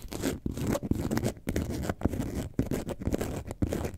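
Long nails scratch the textured front of a hollow, lemonade-carton-shaped yellow and white faux leather bag held upright. The result is a steady, dense scratching that sits mostly low and muffled, broken by short, sharp raps where the nails catch or strike the surface.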